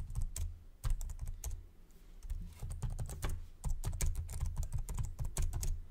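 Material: Plastic.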